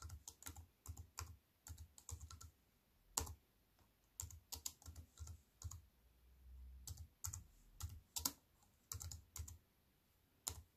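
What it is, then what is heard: Aluminium and plastic wireless keyboard being typed on. Fingertips with long white nails type on the plastic keys of a compact aluminium and plastic wireless keyboard resting on a wooden table. The quiet, crisp key clicks come in irregular bursts separated by short pauses, each with a soft low thud beneath a bright tap and a very short decay.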